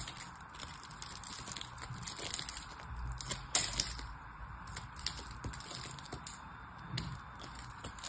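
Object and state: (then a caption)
Bar soap being carved. A craft knife blade carves the crosshatched surface of a solid purple soap bar, held in the fingers, into crumbling cubes. The result is a steady, quiet run of crisp, bright crackling and scraping with many small clicks. A sharper, louder crunch comes about midway through.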